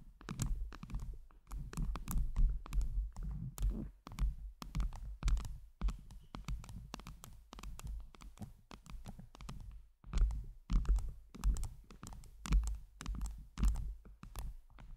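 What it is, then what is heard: Gem-covered microphone, tapped and scratched. Long jeweled nails quickly tap and scratch a round microphone head covered with blue acrylic heart gems. The result is a dense, uneven patter of short clicking taps and scraping scratches over a deep, thumping low-end rumble, with brief pauses between bursts.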